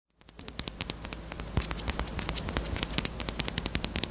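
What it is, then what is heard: Hollow plastic chapstick case. A small, closed, hollow pink hard-plastic bunny-shaped chapstick case with a keyring is tapped with long acrylic nails in a quick, steady run of 34 light taps. Each tap is a short, bright plastic click that dies away almost instantly, over a faint low background hum.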